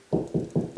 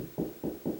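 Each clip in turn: First: Four dull, low knocks on a drywall ceiling, each dying fast; the panel sounds hollow between joists. Second: Three short, dull knocks on a drywall ceiling, tight and quickly damped: solid over a joist.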